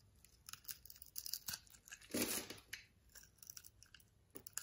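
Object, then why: Bar of soap cut with a blade. A utility knife blade scrapes and carves thin slices and small cubes off a solid, palm-sized brown bar of soap with a cross-hatched surface, held in the hand. Quiet, crisp, bright scraping and crunching clicks come in a rapid series. A louder, longer shaving stroke sounds near the middle before the soft ticks resume.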